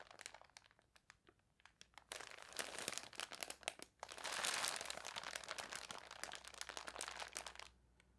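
A folded newsprint newspaper lying on a table is scratched and rubbed across its front page by long nails, using both hands. Quiet, bright, crisp crinkling and scratching starts as sparse separate strokes. It then thickens into denser rubbing that swells to a dry, papery rush around the middle and fades near the end.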